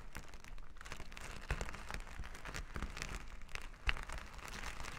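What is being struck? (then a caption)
Plastic sequin fabric. Plastic finger-massager tools held in both hands scrub back and forth across flat plastic sequin fabric lying on a table. The result is a dense, steady crinkling and scratching texture with a heavy low rumble underneath and bright clicks scattered throughout, with a few sharper ticks standing out.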